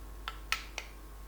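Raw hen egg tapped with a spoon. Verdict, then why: Cracked. A spoon taps the tip of a raw hen egg three times, giving three short, bright clicks with a quick decay. The egg's thinner shell cracks from the tapping.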